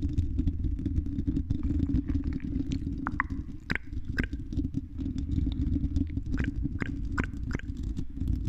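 Long red nails on both hands scratch the silver mesh metal grille of a hollow-dome condenser microphone. The result is a dense, low, rumbling scrape with scattered short, sharp ticks and faint mid-pitched chirps on top, all at a steady level.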